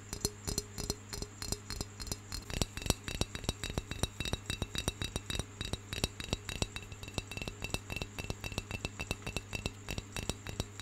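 Fingertips and nails tap and scratch the plain side of a round, hollow, brown terracotta clay pencil holder as it is rotated. Dozens of quick, dry, clinking taps come in an irregular rhythm with soft scratching between them, over a steady low hum. Each tap dies away almost instantly.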